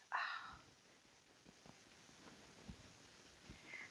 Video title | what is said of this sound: Fleece to Fabric - 1. Finding Your Fleece | just grab a lock and pull and you want to hear that ping it's the sign of a really healthy really strong sheep